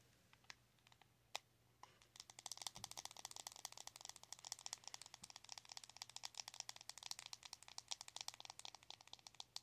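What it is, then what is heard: Plastic makeup compact tapped with nails. A small, round, closed metallic plastic blush compact with a glossy metallic finish has its lid rapidly tapped with long acrylic nails. A few scattered taps give way after about two seconds to a dense, continuous stream of crisp, bright, clicky taps that stop dead with no ring, over a quiet background.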